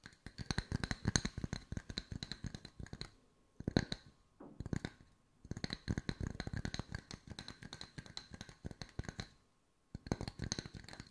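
Fingertips tap on wooden circles at mixed speeds, producing bursts of short, dry clicks with a low body and a bright edge. The clicks come in dense, fast runs broken by brief pauses, and each tap dies away almost at once.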